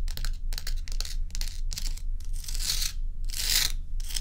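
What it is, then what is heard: Block of ice. Long acrylic nails scratch and tap the surface of a large, bowl-shaped solid dome of clear and frosted ice resting on a dark towel. The result is a series of bright, crackly scratching bursts with short pauses between them, set over a steady low hum.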